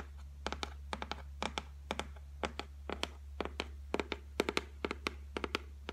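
Long fingernails tap and lightly scratch the flat top of a solid white laminated shelf board, making a quick, irregular series of short, dry, bright clicks with almost no ring. A steady low hum runs underneath throughout.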